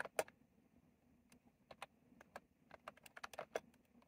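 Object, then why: Plastic mechanical keyboard with round keycaps. Fingertips type on a retro plastic mechanical keyboard with round plastic keycaps, producing about fourteen quiet, crisp clicks at an irregular pace. Each click is short and dry with a bright edge and a midrange body, set against a faint steady background hiss.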